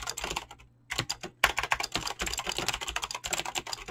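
Fingertips type fast on a Razer BlackWidow mechanical keyboard with clicky green switches and pink-blue dyed PBT plastic keycaps. A dense stream of sharp, bright clicks runs throughout, broken by one short pause near the start, with each tap dying away almost instantly.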